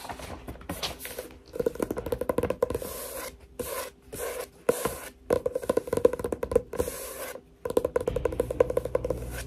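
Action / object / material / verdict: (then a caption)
scrape / paper journal / paper / none. A paper journal is tapped and scratched with quick, dense runs of light taps and scratchy rubbing, separated by brief silent pauses. The sound is dry and close, with a faint mid-pitched tone under the tapping and short, bright scratching bursts.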